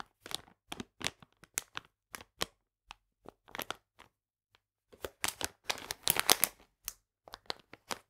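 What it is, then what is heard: Plastic bag of polenta. A full plastic bag of polenta is scratched with fingernails, then picked up and held upright. Short, bright, dry crinkling bursts are separated by silences, with a denser, louder stretch of rustling near the end.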